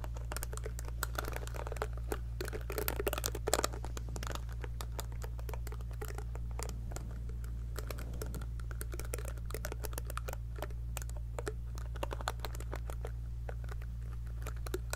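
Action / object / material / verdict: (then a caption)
flick / silicone bristle scalp brush / silicone / none. Long nails pluck and scratch the silicone bristles of a small pink heart-shaped scalp massager brush in rapid flicks above a fluffy microphone. The result is a dense, continuous stream of crisp, bright ticks and scratchy crackles, a little busier in the first few seconds, over a steady low hum.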